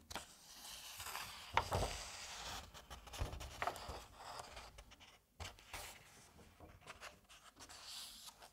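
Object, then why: Paper comic book pages. A hand lifts and flips a paper page over in an open Asterix comic album. Soft, dry rustling and crinkling fill the clip, with a sharper snap of the page near the start, a brief quiet moment, then more light brushing and settling of the paper.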